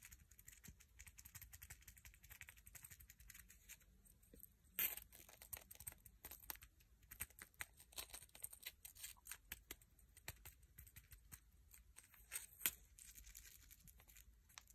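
A single dried sand dollar, a palm-sized, thin, flat and hollow calcified sea urchin skeleton, is held in one hand and tapped and scratched with short painted fingernails and fingertips, then briefly cupped between both hands partway through. The result is a quiet stream of bright, dry clicks and crisp scratching that dies away almost instantly, with a couple of sharper, louder taps standing out near the middle and toward the end.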